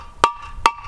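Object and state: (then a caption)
Cracked masonry block. An unnamed masonry piece for a ground anchor is struck twice with the edge of a club hammer to create micro-fractures. Each blow gives a sharp, hard knock with a short, clear mid-pitched ring and a bright click on top. The piece sounds different after the blows, showing it has cracked.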